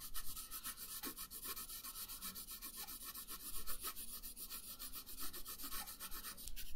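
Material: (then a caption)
Paper. A pink wooden colored pencil is rubbed back and forth across a thin printed paper coloring sheet lying flat on a wooden table. The result is a quiet, steady run of quick scratchy strokes with a bright papery hiss over a soft low rumble.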